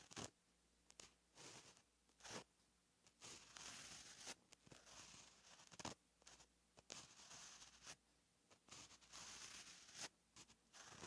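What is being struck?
Gel pen on lined paper notebook page.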